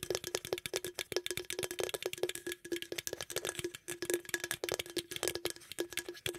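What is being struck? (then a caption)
Aluminum drink can. A green aluminum beverage can is held close to the microphone while fingernails rapidly tap and scratch its lid rim and sides. The result is a dense run of quick, rattly metallic taps with a hollow ring around 360 Hz and bright, crisp highs.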